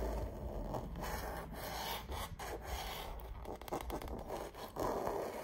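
Fingernails and fingertips rub and scratch across the surface of a painted autumn landscape canvas wall art piece. The result is a soft, continuous dry rasping and scraping texture with brief brighter scratchy streaks over a low rumble.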